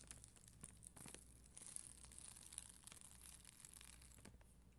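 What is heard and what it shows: A plastic spoolie brush, held by a hand with long green nails, scratches across an acrylic rhinestone sticker sheet with red and clear acrylic gems on a white backing. The result is a quiet, continuous crinkly scratching with bright, high sparkly ticks and a soft low rumble underneath.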